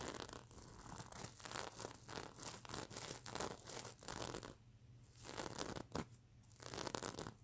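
Long nails scratch across the plastic sequins of a soft, stuffed mermaid unicorn sequin plush pillow. It makes rapid, bright, scratchy rustling and crinkling strokes, broken by two brief quieter pauses near the end.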